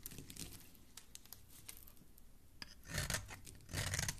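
A metal utility-knife blade shaves and scrapes the surface of a solid, palm-sized green bar of soap held in fingers with dark-painted nails, peeling off curls and crumbs. Soft, dry scratching and rasping strokes run throughout, then two louder, longer scrapes near the end bring a brighter, crisper shaving hiss.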